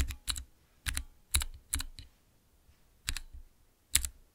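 Fingertips press the transparent keycaps on a small, clear acrylic Cherry MX mechanical keyboard switch tester. The presses make a series of short, crisp clicks with bright, high ticks over soft low thuds. The clicks come in pairs and small clusters separated by brief pauses.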